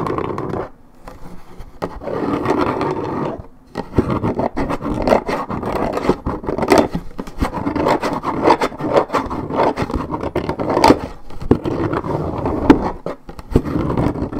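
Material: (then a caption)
Paperboard. Long nails of both hands scratch and tap on a hollow Minute Maid 1.75 L coated paperboard orange juice carton. Dense, rough scraping fills the low-mid range around a dull body tone, broken by many sharp, short taps and brief pauses.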